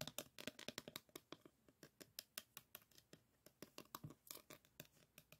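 Fingernails tap and scratch across a small framed diamond painting board covered in plastic resin drills, held close. About two dozen quick, dry clicks rattle in an uneven rhythm, bright and crisp with little low end, each dying away almost instantly.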